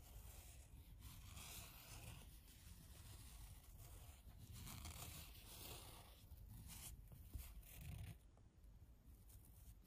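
Long blue nails scratch the pile of a patterned woven rug lying on a wooden floor. Steady, close scratchy rubbing with bright rasping streaks rises and falls over a heavy low rumble, then eases off near the end.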